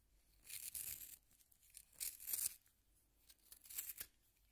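A solid yellow wooden pencil is twisted by hand in a small pink plastic sharpener, its blade shaving the wood. Three separate bursts of bright, dry, rasping scraping are heard, with quiet pauses between them.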